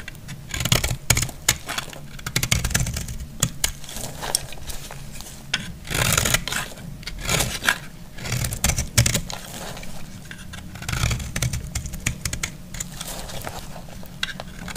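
A metal utility blade cuts and scrapes a solid, stamped bar of dry yellow soap, and crumbles fall away. Dense, crisp crackles and bright scraping bursts come in clusters, each dry and quickly damped. A steady low hum runs underneath throughout.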